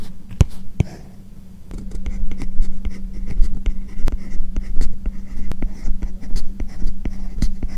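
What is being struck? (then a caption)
Plastic stylus on a matte plastic screen protector over tablet glass. A hand writes English text with a hard plastic Apple Pencil-type stylus on an iPad-style tablet lying flat, its glass screen covered by a matte plastic paper-like screen protector. The stylus tip rubs and scratches across the film in continuous strokes, giving a dry, scratchy rustle dotted with sharp little taps as the tip lands and lifts. A steady low hum runs underneath throughout.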